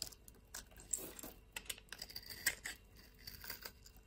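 A blade scrapes scored cubes off the surface of a solid brown soap bar held in the hand. The result is a quiet run of bright, crisp, crackly clicks and scratchy ticks with very little low end.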